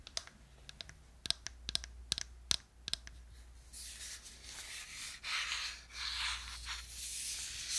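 Long nails tap and click the buttons of a hollow, handheld gold plastic Wii remote with a wrist strap, making about a dozen sharp, bright clicks over the first three seconds. The sound then shifts to a steady, hissy scratching of nails across the plastic, rising and falling in loudness, over a faint low hum.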